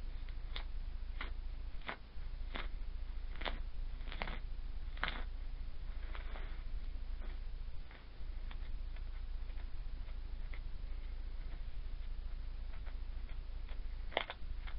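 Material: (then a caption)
Sand. A metal spoon scrapes and cuts through a flat layer of loose lilac moon sand on a round dark tray, breaking up crumbly clumps with repeated strokes. Each stroke gives a short, soft, crisp scratch that fades almost at once, spaced irregularly over a steady low hum.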